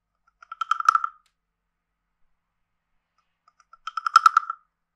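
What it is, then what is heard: Wooden frog guiro. A hand-sized carved hollow wooden frog guiro with a ridged back is played with a wooden stick that taps and scrapes the ridges. Two short bursts of quick, dry clicking rasps, each building from a few separate taps to a rapid ratchet, carry a hollow, croak-like tone around 1.3 kHz with bright overtones. A few seconds of silence separate the bursts.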